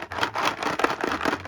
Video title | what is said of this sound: Halloween Candy - Monster Madness 2025 | You shake it and you hear them rattling around.